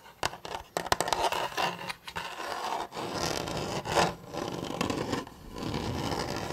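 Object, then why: Hollow plastic toy blaster. A hollow blue plastic Nerf toy blaster, held diagonally, is rubbed and scratched with fingertips and nails near the grip. Sharp dry scratching clicks and rasps come first, then longer steady rubbing and scraping with a bright hollow plastic tone.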